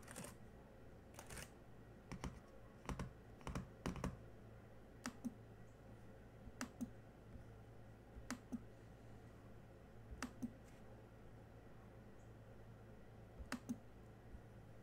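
Sparse single-hand fingertip presses on the black plastic keys of a small silver laptop keyboard give short, dry clicks, often in quick pairs, spaced irregularly over a steady low hum. Each press is soft with a brief bright edge and dies away almost at once.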